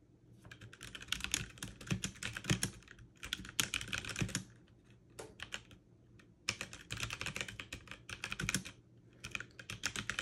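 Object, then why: Mechanical keyboard with plastic keycaps. Fast two-handed typing with fingertips and long nails on a backlit mechanical keyboard with plastic keycaps produces dense bursts of bright, sharp clicks. The clicks come in runs separated by brief pauses, with a low steady hum underneath.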